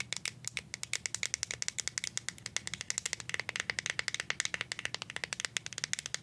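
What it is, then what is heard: Plastic deodorant stick. Paper clip nails tap rapidly on the white plastic bottom dial of a plastic deodorant stick, then on its side. About fifty quick, dry, bright clicks follow one another with almost no ring, over a faint low hum.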